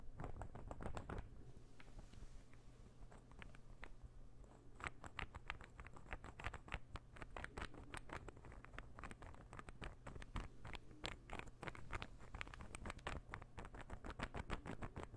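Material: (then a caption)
Wood. An assembled, palm-sized, light-wood interlocking puzzle ball is held in the fingers and tapped and scratched with fingernails. The result is a quiet, continuous patter of quick, dry wooden clicks and taps mixed with brief scratching, over a steady low hum.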